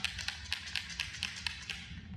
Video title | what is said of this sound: How to efficiently install and remove bonded windows for marine vessels [FULL VIDEO] | We shake it up till you hear it rattle, and then a couple of minutes.